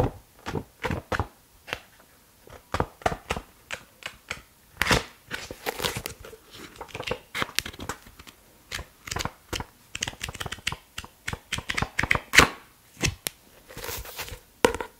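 Fingertips bend a pink softcover paperback book with a solid block of paper pages and riffle through them. The result is a quick series of crisp rustling and flapping paper sounds.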